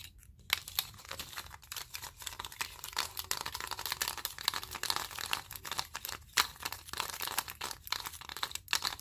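A mat of wooden clothespins with metal springs, clipped together and held in both hands, is squeezed, flexed and shaken. It makes dense, continuous wooden clicking and rattling, bright and crisp with almost no low end and no ring after each click.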